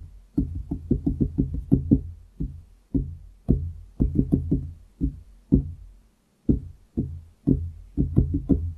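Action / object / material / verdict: tap / wooden desktop / wood / none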